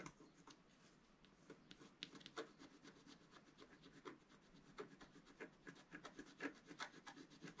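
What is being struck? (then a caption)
Black-coated scratch-art paper with wooden stylus. A wooden stylus scratches stripes into a planet drawing on a flat sheet of black-coated scratch-art paper held down by the left hand. Quiet, bright, irregular scratching strokes follow one another in short rasping bursts, each stopping dry with no ring.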